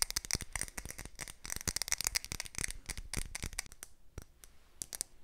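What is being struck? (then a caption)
Wax-filled glass candle jar. A large glass candle jar filled with solid red wax is held in both hands and tapped with long nails and fingertips. Quick, dry, bright clicks come in a dense run, then thin out into sparser, softer taps toward the end.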